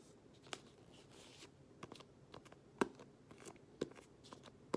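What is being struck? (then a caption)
Cloth-covered hardcover book. Long nails and fingertips scratch and rub across the textured green cloth cover of a closed, solid hardcover book held upright. About a dozen quiet, dry, short scratches come at an uneven pace over a soft rustling bed. The strokes have a papery, slightly bright texture with no ring.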